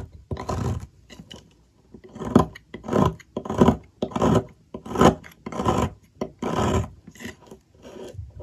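A metal blade scrapes curls off the cut face of a solid, partly shaved blue bar of soap on a table. Each stroke is a dry, rasping scrape with a soft low body, repeated in an uneven rhythm of about one and a half strokes per second. Short quiet gaps fall between them.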